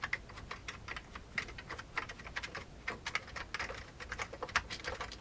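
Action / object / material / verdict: tap / plastic computer keyboard / plastic / none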